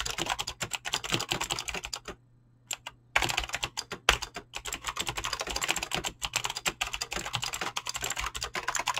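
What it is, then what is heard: Mechanical keyboard with PBT keycaps. Fingertips type quickly on a mechanical keyboard with clicky green switches and PBT plastic keycaps, producing a dense stream of sharp, bright clicks. The typing pauses briefly around the two-second mark, then resumes with steady rapid keystrokes and an occasional louder tap.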